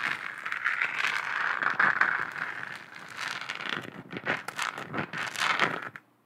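Long acrylic nails tap rapidly across a lit, hollow, textured plastic moon lamp globe. The result is a dense, crackly patter of bright clicks and light scratchy scraping centered in the mid-range, which swells and thins in bursts before cutting off abruptly near the end.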